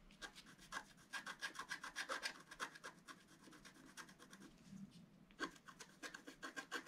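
A wooden stylus makes repeated short scratches on the flower area of a flat, black-coated scratch-art paper board lying on a table. The quiet, dry strokes rasp with a bright edge and a tone near 1.6 kHz, pausing into softer rubbing midway before a new run of scratches.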